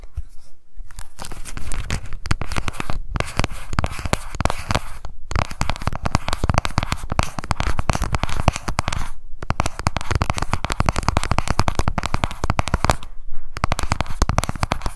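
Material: Plastic.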